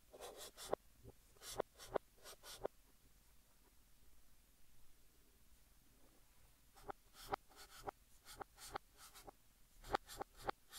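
Fingertips hold a blue chalk stick and write text on a large, flat green chalkboard, scratching it across the surface. Short, bright, scratchy chalk strokes come in quick bursts, then a quiet pause of a few seconds. The strokes resume in a denser run to the end.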